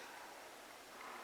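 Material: Nothing is struck.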